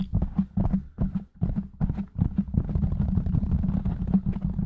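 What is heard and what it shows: Fingertips of both hands tap and scratch rapidly on a black foam windscreen fitted over a silver microphone. The result is a fast, irregular stream of dull, muffled low thumps with little brightness and almost no ring. A brief pause near the middle gives way to a denser, continuous run of tapping and scratching.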